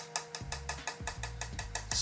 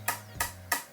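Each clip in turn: First: carbon fibre repair with a dull, likely delaminated area. Second: solid carbon fibre tube (sound laminate).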